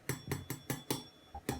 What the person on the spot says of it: tap it on the bottom, and if it sounds hollow, it's done, which it does